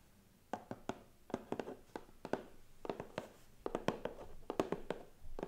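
A medium, closed, hollow white cardboard gift box with gold star cutouts on the lid rests on a lap and is tapped and rubbed with pink-painted fingernails and fingertips. The result is a quick, irregular series of short, dry, hollow clicks and taps with soft scratchy rubbing between them, each tap dying away almost instantly.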